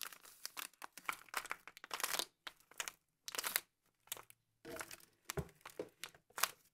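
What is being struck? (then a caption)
Biscuit roll in a plastic wrapper. A full Frutigran biscuit roll in a crinkly plastic wrapper lies on a table while a bare hand and a black-gloved hand press, squeeze and crinkle the wrapper. Quiet, bright crackling and crinkling come in short irregular bursts separated by brief silences, with little low end.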